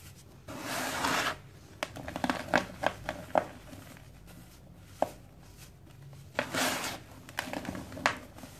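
Loose grey dry cement powder in a round metal bowl is squeezed, rubbed and crumbled by bare hands and fingertips. Two longer bursts of bright, gritty rubbing are separated by quieter stretches of short, dry crackles and sharp ticks. Each sound cuts off almost instantly, leaving little ring.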